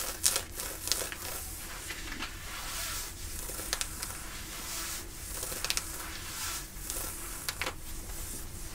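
Long nails and fingertips scratch and rub the thick woven cotton of light-blue ripped denim jeans worn on the thigh, working around the rip at the knee. A steady, bright, rasping scrape runs throughout, broken by sharper scratching bursts over a low, soft rumble.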